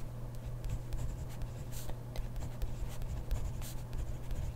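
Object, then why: Ballpoint pen on grid paper notebook page. A hand writes steadily with a ballpoint pen on a grid paper notebook page, the pen tip scratching the paper in short, bright strokes. A steady low hum sits underneath the quiet scratching throughout.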